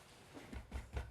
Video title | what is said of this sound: Cinnamon & Lemon Bread - Odlums | it should have a hollow sound when you tap it